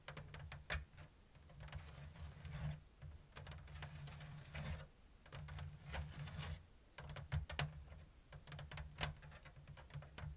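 Long blue nails tap and scratch a round, hollow basket woven from thin bamboo strips in an open diamond lattice. Crisp, bright clicks and dry scratching come in irregular bursts over a low, steady hum that cuts in and out, with each tap dying away almost instantly.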